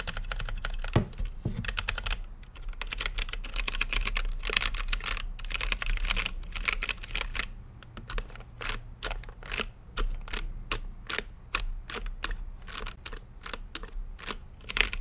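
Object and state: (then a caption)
Plastic mechanical keyboard. Fingertips type on a mechanical keyboard with plastic keycaps and a clear acrylic lit case. Rapid, dense bursts of bright, dry clicks fill the first half, then slow into separate, evenly spaced keystrokes. A steady low hum sits underneath.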